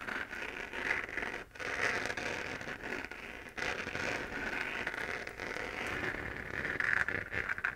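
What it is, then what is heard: 3D-printed plastic moon lamp being scratched. Long nails scratch the textured surface of a 3D-printed plastic moon lamp, a hollow lit plastic sphere. A steady, crackly scratching carries a bright band of tone around 1.5 to 2 kHz, with short dips in loudness near 1.5 and 3.5 seconds before it picks back up.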